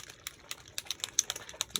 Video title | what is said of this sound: Making An Ancient Mixed Media Book Cover #MakersCreativeCollab | they'll have a little ball in it that lets you know that you need to shake it up